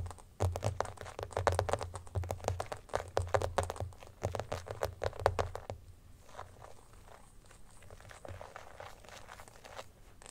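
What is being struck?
Clear plastic phone case.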